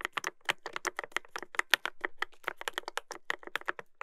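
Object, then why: Mechanical keyboard with plastic keycaps. Continuous fingertip typing on a Dolphin 2021 mechanical keyboard with a brass plate and plastic keycaps produces a rapid stream of short, crisp key clacks with a bright, clicky tone. The strokes are dry and quickly damped, with uneven spacing and loudness as the typing runs on throughout.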